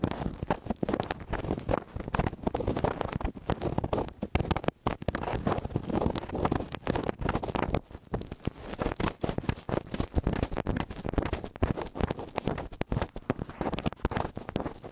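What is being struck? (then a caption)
Metal microphone capsule heads. Fingertips and nails scratch and tap the small hollow metal capsule heads of a stereo microphone held on a white stand. The result is a dense, continuous stream of close, muffled, low-heavy rustling and thumping, with quick dull taps and scrapes and almost no bright content.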